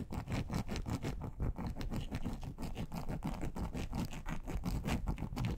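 Long acrylic nails on both hands scratch and click across the surface of a large, flat, grey textured plastic board, a solid thin sheet. The result is a steady, dense rasping texture, mostly low and thuddy, with quick bright clicks that die away almost instantly.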